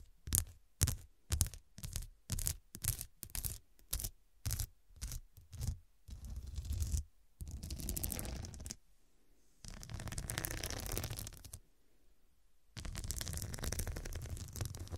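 Long nails and fingertips scratch the square faceted glass studs covering a medium, soft, filled fabric cushion. The first six seconds are a run of short, quick scratching strokes with a bright, gritty edge. The rest is three longer stretches of continuous rasping, separated by brief pauses.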